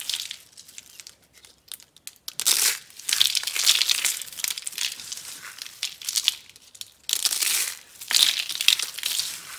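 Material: Soap.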